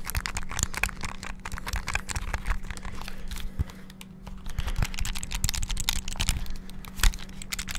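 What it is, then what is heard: Buttons of a plastic handheld game console. Fingertips rapidly press the buttons on a small black hollow plastic flip-open handheld game console, producing a dense stream of quick, dry plastic clicks and taps. The clicks come in fast bursts with a brief quieter lull near the middle, over a low steady hum.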